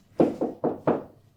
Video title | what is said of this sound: Rob Harrison - January 2023 | I just tapped it. And that's how it sounded like. It was hollow. That all that render had come away from the backing.